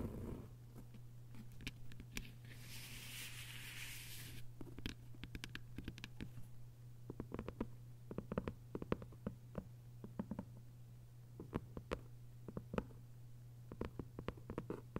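Long white nails tap and scratch on the cover of a thick hardcover novel with a paper dust jacket, lying flat. Sharp, quick clicks of varying loudness ring out over a steady low hum. A brief burst of brighter scratching sounds near the start.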